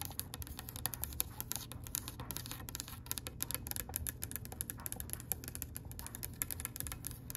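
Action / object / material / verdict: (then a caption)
tap / oak wooden tabletop / oak wood / none. Long pale pink acrylic nails tap rapidly on a solid oak-grain wooden tabletop. A quick, steady stream of sharp, bright clicks with very short decay sits over a soft, low, rumbling background.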